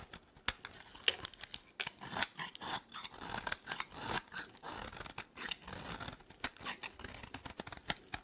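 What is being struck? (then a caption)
Bar of soap scraped with a metal blade. A metal blade shaves and scrapes thin flakes off a solid, dry green soap bar held in the hand. The result is a quiet run of crisp, bright scraping and crackling strokes with short, dry bursts and little low end.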